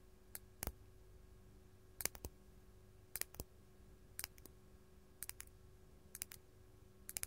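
A large solid faceted purple artificial glass crystal gem, held in the hand, is tapped with long gold metal claw nails. Short, dry, bright clicks come in small clusters over a quiet background hum. Each tap dies away almost instantly with no ringing.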